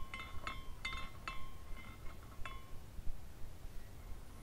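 A hand spins a small clear glass carousel ornament by its top; it has glass horses, a spiral pole, a cone roof and a rainbow base. Its hanging glass parts clink together in quick, irregular, bright chiming taps, each with a short ringing tone near 1 and 2 kHz. A low, steady rumble sits underneath.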